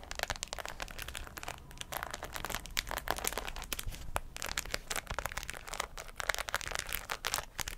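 A white fabric cap covered in plastic pearls and rhinestones is held beside a microphone and scratched with long acrylic nails. The result is a steady, dense stream of bright, crinkly scratching with quick clicks and ticks that stop instantly.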